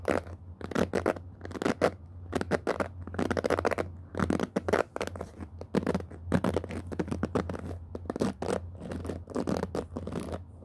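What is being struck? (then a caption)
Plastic pin-bristle hairbrush with rubber cushion. A handheld black plastic paddle hairbrush with a rubber cushion pad and many ball-tipped plastic pin bristles is scratched and brushed across by fingertips and nails while the hands grip and rub the brush head. The result is a steady run of dense, dry scratching and crackling strokes in quick bursts, with a constant low hum underneath.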